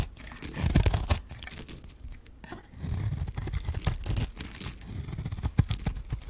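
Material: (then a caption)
Soap. A metal blade scrapes and shaves the surface of a hand-held, solid white bar of dry soap with a magenta rim. Dry, crunchy tearing and crackling sounds come in uneven bursts, with a dull low body and brief bright scratches. The sound is loudest early on and again in the second half.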